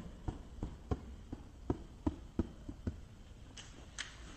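Long-ish fingernails tap and scratch the clear plastic side of a small clear plastic case with a green lid, held on its end with contents inside. A series of short, dull, low taps with a hollow knock is followed by two brighter, hissy scratches near the end, over a quiet background.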